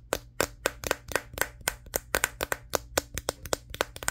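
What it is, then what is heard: Smartphone with glass back. Fingertips tap on the matte glass back and around the camera lenses of a Samsung Galaxy S23, the thin, solid handheld phone held in front of a mirror. About 21 quick, dry taps come in an uneven rhythm, each a short click with a faint tone near 527 Hz and a bright edge that dies away almost at once.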